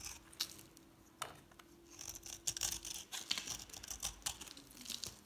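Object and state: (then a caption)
Dry soap bar being shaved. A palm-sized solid bar of dry green soap with a painted black coating is held in one hand and shaved with a metal utility knife blade, curls and flakes falling away. Quiet, bright, dry scraping and scratching strokes come in quick uneven bursts with almost no ring, over a faint steady low hum in the first part.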